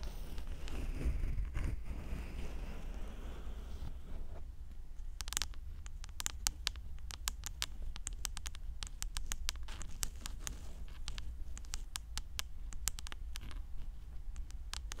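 Long orange nails tap and scratch the rim and inner plate of a hollow, hand-sized white plastic ring housing on a 3Dio binaural microphone ear. The first few seconds are a soft, continuous scratching and rubbing over a deep low rumble. After that come many sharp, dry, bright clicks that fade almost instantly, in quick irregular bursts until the end.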